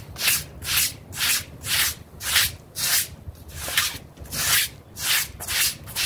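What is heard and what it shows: A small, damp blue synthetic pile mat is scrubbed with a pink bristle brush in quick strokes while the other hand pins it down. About ten bright, hissing scrub strokes sweep back and forth in a loose, steady rhythm, each rising and fading smoothly with little low end beneath.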